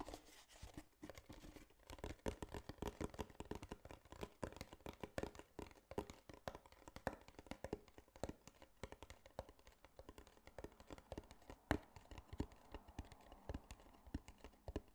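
A larger tan cardboard box, hollow and held horizontally in both hands, is tapped rapidly with fingertips and nails for about 15 seconds. The steady stream of quiet, dull taps has a low, hollow body and dies away almost instantly, with occasional louder hits.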